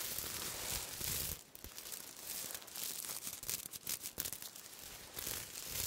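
Silver-black sequin cloth is held close and rubbed with fingertips and nails. The result is a bright, scratchy crinkling and rasping with rapid clicky textures. A louder rubbing passage at the start gives way to a quieter, irregular stretch of scratching, and the rubbing builds again near the end.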